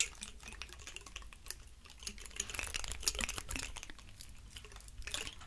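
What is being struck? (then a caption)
Woody pine cone. A large, dry, woody pine cone is held between two hands while fingers rub and scratch across its scales. Dense, crackling scratches and bright, dry clicks come in quick, uneven bursts over a soft low rumble, staying quiet throughout.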